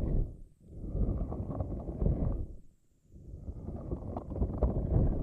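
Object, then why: Soft silicone puffer ball with flexible spikes. A pink, soft silicone or rubber puffer ball with long, flexible spikes is held in both hands while long nails and fingertips squish, pluck and rub the spikes. It makes dense, low, rubbery crackling and rustling in three stretches, with brief near-silent pauses at about half a second and around the three-second mark.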